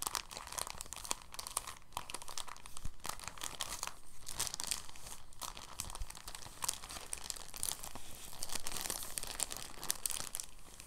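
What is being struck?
Thin plastic bag.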